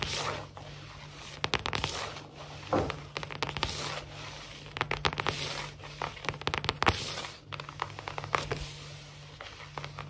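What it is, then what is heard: Laminate floor. Long fingernails on both hands scratch and tap quickly across a large, solid, glossy wood-look laminate floor. Bright, dry clicks and scratchy strokes come in irregular bursts over a faint low steady hum.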